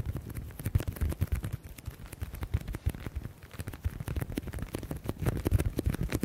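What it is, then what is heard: Leather folder. Fingertips rapidly tap and scratch the edges and surface of a flat black leather folder held in both hands. The result is a dense, uneven stream of short, dull, low-pitched taps mixed with soft scratching, each tap dying away almost instantly.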